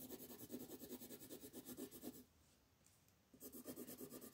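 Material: Paper.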